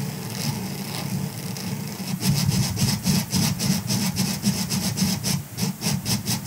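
Fingertips of both hands scratch the bristles of a grey silicone scrubber sponge lying on a fur rug. A soft, steady rubbing hiss gives way after about two seconds to rhythmic, bright scratching strokes, about fourteen in quick succession, each with a low, dull body beneath the crisp high rasp.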